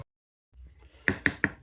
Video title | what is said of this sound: NJ Home Inspector Explains How Long a Home Inspection Should Take & Pre-listing Inspections | this is a sill plate in a garage and it sounds Hollow to me sounds Hollow